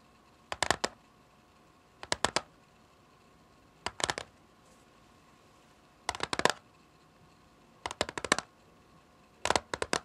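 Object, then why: Plastic CD jewel case. Long fingernails tap the top of a small, flat, hollow clear plastic CD jewel case lying on a patterned surface. They make six short bursts of rapid, bright plastic clicks with quiet pauses between. Each tap is dry and stops almost at once, with no ringing.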